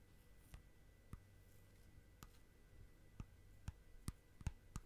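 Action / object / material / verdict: tap / clear plastic tub with lid / plastic / none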